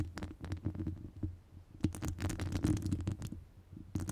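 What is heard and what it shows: Long acrylic nails scratch across the top of a hollow metal wire-mesh microphone grille. The result is a dense, muffled scratching and rumbling, heavy in the lows, with quick bursts of brighter scraping that rise and fade throughout.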